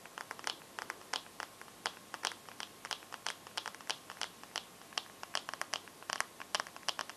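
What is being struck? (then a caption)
Smartphone glass screen. Long nails scratch and tap the glass screen of a bare teal Samsung phone held with the screen facing out. About forty quick, dry clicks and ticks come in uneven bursts. Each is bright and crisp, with almost no low end, and dies away instantly.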